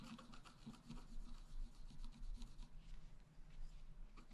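A wooden stylus point scratches across the black coating of a flat A4-size scratch-art sheet with a rainbow layer beneath, lying on a table while the other hand holds the sheet. The result is a continuous dry, raspy scratching with bright, streaky strokes over a steady low rumble.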